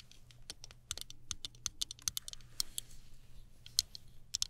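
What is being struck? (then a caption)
Plastic hairbrush with chrome-look finish. Long nails tap rapidly on the handle of a small chrome-finish plastic hairbrush held horizontally. The result is a quick, uneven run of sharp, bright, dry clicks that stop instantly without ringing, over a faint low hum.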